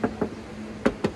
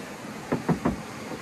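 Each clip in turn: First: car body panel, bare sheet metal with only thin filler. Second: car body panel with thick body filler.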